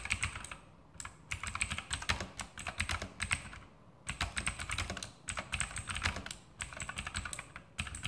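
E-Element Sharpshooter X2000 backlit mechanical keyboard with plastic keycaps and Outemu blue clicky switches, typed on steadily by the fingertips of both hands. Dense bursts of short, bright clicky keystrokes come in runs separated by brief pauses, each click decaying almost instantly over a low thud.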